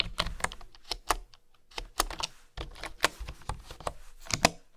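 A bamboo wooden keyboard is typed on with fingertips and nails, tapping the keys in an uneven rhythm. Each keystroke is a short, bright click over a soft, dull thud that dies away almost at once, with a brief lull partway through.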